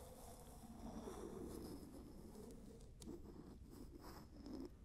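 A medium glass candle jar with a round wooden lid is held close and tapped and scratched across the lid surface with long nails and fingertips. The result is a soft, continuous scratching and rustling texture centered in the low-mid range, with a few brief taps and light clicks.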